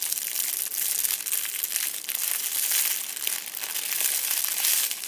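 A fist-sized purple metallic foil crinkle ball, held against a fabric seat, is squeezed and crumpled repeatedly by hand. It gives a steady, bright, papery crackle with almost no low end, swelling and easing as the grip tightens and relaxes.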